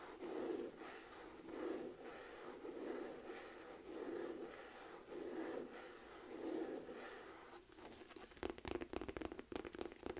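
Long nails scratch across a beige smooth-leather Michael Kors envelope-flap clutch, a hollow, medium-size purse, in six slow, soft rasping strokes. The nails then shift to a quick run of light, dry taps on the flap and body.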